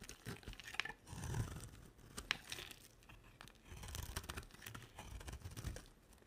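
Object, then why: Solid bar of soap. A solid rectangular olive green bar of dry soap, held in the hand, is shaved and carved with a box-cutter blade. Short, crisp scraping strokes give dry crunching and crackling, with soft low thuds beneath bright, tearing-like rasps. The strokes come in uneven bursts with quiet gaps between them.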